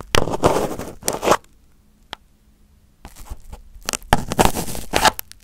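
Crumpled aluminum foil wrapped over a microphone head is touched by fingertips, then its top is poked with a pin. Loud, broadband crinkling and scraping bursts fill the first second and a half, followed by a sharp single click near the two-second mark and a quiet pause. Brittle crackling rustles then build into dense, bright crunches before fading.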